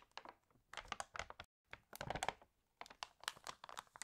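Pages of a glossy paper fashion catalog are flipped and crinkled while fingertips scratch across the paper. Quiet, dry crinkling and scratchy bursts come in clusters with a brief silent gap between them, the sound bright and papery with little low end.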